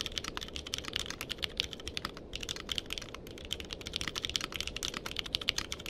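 Fingertips type rapidly on a compact mechanical keyboard with a purple case and plastic keycaps, recorded up close with a microphone nearby. A dense, steady stream of short, bright clacks, each dying away at once, is heard over a low rumbling bed, with brief pauses around the two- and three-second marks.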